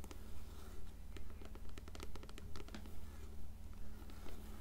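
Long nails tap and scratch the cover of an upright, closed blue paperback copy of Coraline. A steady run of sharp, bright clicks and brief scrapes falls in an even rhythm of about two per second, over a constant low hum.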